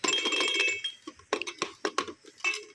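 A cartoon egg-shaped plastic baby shaker toy for children aged 0–3, freshly taken out of its packaging, is shaken. Its contents give a loud, bright clinking rattle, first in a fast continuous burst, then in short separate shakes that each stop quickly.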